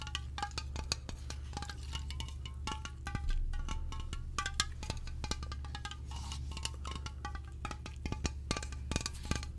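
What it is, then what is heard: Aluminium aerosol can tapped, hollow. A slim, hollow aluminium aerosol air freshener can with a white and orange label is held in both hands in front of the microphone and tapped with the fingertips and nails. The taps come quickly as bright clicks, each with a short metallic ping near 1.25 kHz that dies away almost at once, over a steady low hum.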